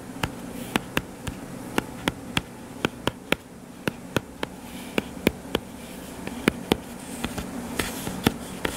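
Fingertips and short nails tap rapidly on the cover of a purple-covered paperback book lying flat on a table, a solid stack of paper. About two dozen short, dry clicks ring out one after another, each dying away almost instantly, over a steady low hum.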